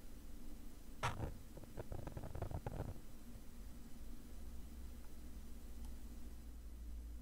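A black woven nylon zippered case, padded and hollow and held in one hand, has its surface scratched with a thin metal pick or screwdriver tip. A sharp scrape at about one second is followed by a quick run of short, rasping scratches that stop just before three seconds. A low, steady hum fills the rest of the clip.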